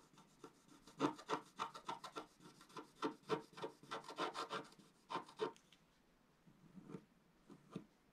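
A wooden stylus scratches lines into the black coating of a flat, thin, solid scratch art paper sheet lying on a table, while the other hand steadies the sheet. Short, dry, raspy strokes come in a quick, uneven rhythm, each with a bright scrape and almost no ring. After about five and a half seconds the scratching turns quieter and sparser.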